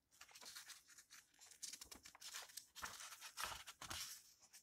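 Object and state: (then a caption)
Old paper book, pages turned. Fingertips lift, flip and rustle the yellowed paper pages of an open old book. Soft, dry, crisp rustles and papery crinkles come in uneven bursts, bright and hissy with almost no low end, while the level stays quiet throughout.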